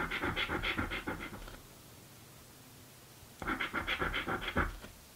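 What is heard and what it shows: A coin edge scratches a thin, flat blue cardboard scratch-off lottery ticket, a birthday scratchie, in quick, rasping back-and-forth strokes with bright, papery grit. The scratching comes in two bursts with a near-silent pause between them.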